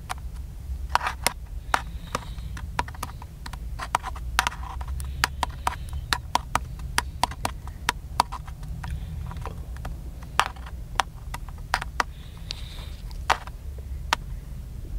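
Fingertips tap the top and side of a small black plastic handheld camcorder with a hollow body, held in one hand. The result is an irregular run of short, dry, hollow clicks with a bright edge that die away almost instantly, over a steady low rumble.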